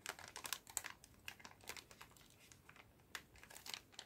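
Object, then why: Plastic bag full of cotton swabs. A clear plastic bag full of cotton swabs is tilted and shaken in both hands while fingers squeeze it. This produces quiet, bright crinkling and rustling in quick irregular bursts, with soft swishes between them and almost no low end.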